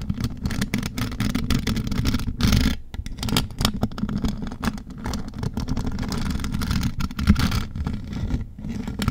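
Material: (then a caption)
Metal mesh. Long gold metal nail claws scratch and tap across the mesh metal grille top of a large USB microphone covered in rhinestones. The result is a dense, continuous stream of rapid scratching and clicking with a heavy, boomy low end and little high sparkle. There are brief louder swells just past two seconds and again near seven seconds.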